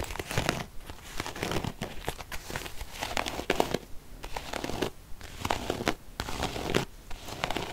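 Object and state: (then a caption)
Faux leather zip wallet. Long painted fingernails scratch across the surface of a small beige quilted faux-leather zip purse, soft and hollow, held upright in one hand. A dense run of crinkly, crackling scratches comes in quick bursts with brief pauses between strokes, each sound dying away almost at once.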